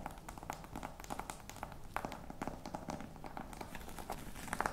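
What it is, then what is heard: Faux croc leather box, hollow. Long nails tap and scratch the textured side of a hollow, black croc-embossed faux leather box with studs. The result is a dense run of quick, dry taps with a mid-pitched knock near 840 Hz, mixed with soft scratchy rasps. Each tap fades almost at once, and a few louder taps come near the end.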